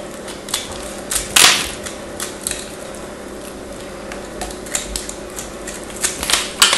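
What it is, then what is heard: Bar soap being carved. A craft knife carves into a small, hand-held chunk of solid white bar soap and scrapes off flakes. Crisp, bright scraping and crunching bursts come at irregular moments over a faint steady background hum, with a few sharper cuts standing out.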